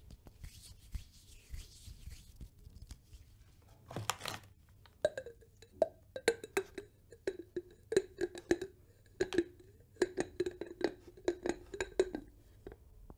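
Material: Glass.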